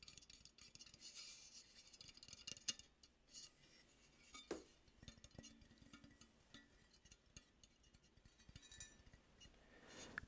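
A handmade metal robin ornament is tapped and clinked, giving quiet, bright, short metallic ticks and scrapes with almost no ring. The taps come in irregular clusters over a soft rustling background.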